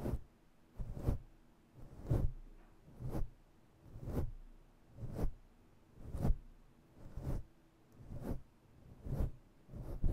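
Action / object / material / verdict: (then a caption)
scrape / synthetic fur microphone windscreen / synthetic fur / none. Long natural nails scratch and rub roughly with both hands over a fluffy grey and black synthetic-fur windscreen covering a microphone. It makes dull, low, rumbling swishes in steady bursts of about one per second, with quiet pauses in between and very little brightness.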